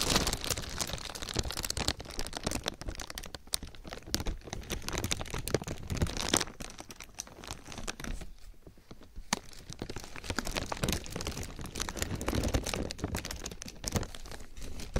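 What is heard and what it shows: A thin grey plastic bag draped over a binaural ear microphone is rubbed and crinkled with the fingertips of both hands. Dense, bright crinkling and crackling runs close to the mic, with a low, muffled rumble from the handling. The sound eases briefly just past the midpoint before the crinkling picks back up.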